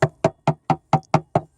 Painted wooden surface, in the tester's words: you can tap on it. You can see where the rot is. You can hear the rot.